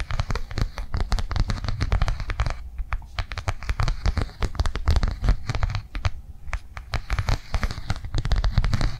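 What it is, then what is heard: Plastic cardholder, tapped with nails. Long nails tap quickly across the edge and surface of a flat blue rectangular plastic cardholder lying on a table. A dense, steady stream of short, crisp clicks with a soft low thump runs through the whole clip, easing briefly twice before picking back up.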